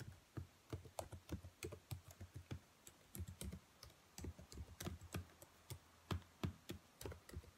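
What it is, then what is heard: Plastic laptop keyboard. Long nails and fingertips type and tap on the black plastic keys of a dark laptop keyboard, making about 26 quick, irregular clicks. Each keystroke is a short, dry tap with a soft low thump and a bright tick that dies away almost at once, over quiet background hiss.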